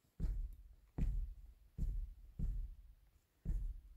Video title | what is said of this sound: DENTRO DEL VOLCANCITO MAS PEQUEÑO DE MÉXICO | escuchen con mi rodilla y se escucha hueco